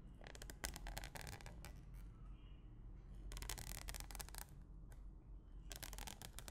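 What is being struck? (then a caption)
Plastic cling film over a glass bowl. A thin white stick pokes and pushes repeatedly into clear plastic cling film wrapped tightly over a medium, empty clear glass bowl. Quick, bright, crinkly taps and scratchy pushes come in three bursty clusters over a steady low hum. Each tap dies away almost at once.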